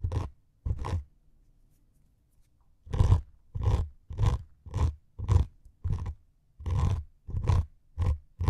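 Two metal needles scratch the grey abrasive top of a white melamine foam sponge resting on two mics. Eleven short, crunchy, rasping strokes come through, with a long pause after the first two, then a steady run of nine. The strokes are heavy in low rumble with a brighter scratchy edge, and each stops dead.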